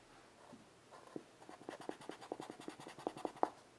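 Chalk held in the fingertips draws a cat outline on a flat wooden-framed chalkboard, scratching short strokes onto the board. A quiet, irregular run of dry scraping taps builds in density and loudness, with brief mid-range scrapes and a bright edge, ending on the strongest stroke near the end.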